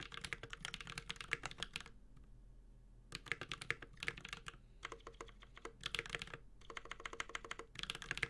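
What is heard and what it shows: A Space65 Cybervoyager 65% mechanical keyboard with an aluminum case, ABS keycaps and Holy Panda switches is typed on with the fingertips of both hands. Quick bursts of bright, crisp clacks with a slight low thock underneath come in flurries, broken by short pauses of near silence. Each keystroke is dry and short, with almost no ring.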